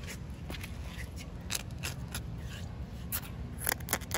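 Short painted nails scratch and tap the rough surface of a large, solid, slightly damp outdoor concrete slab. Crisp, bright scraping strokes and sharp little taps stand out over a steady low rumble. Each one stops dead, with no ring.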